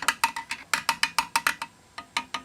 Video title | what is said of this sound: Filling and Priming the New Reservoir in my Old HAF 932. | you can hear if it's hollow